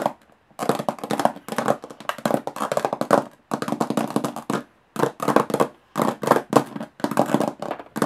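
Long nails tap fast on the textured lid of a closed, hollow aluminum carry case. The taps come in quick, dry bursts separated by short pauses, with a hollow metallic tone around 290 Hz and almost no ring after each tap.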